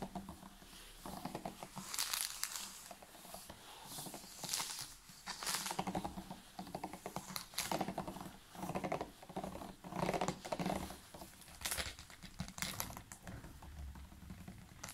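A large, clear, ridged PET water bottle full of water is held upright and tapped rapidly on its sides and label with the fingertips and nails of both hands. The result is bursts of quick, crinkly tapping and crackling with a bright edge, rising and falling in intensity throughout.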